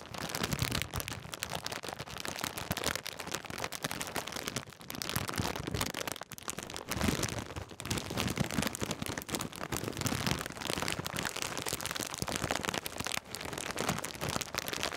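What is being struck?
Foil-plastic snack bag.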